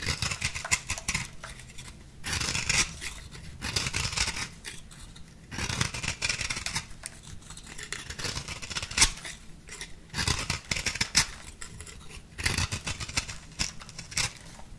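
A small metal blade shaves the flattened side of a compressed-powder bath bomb ball, and the powder falls into a bowl. Dry, bright scraping strokes come in repeated bursts with short gritty crackles and light taps, separated by quieter pauses.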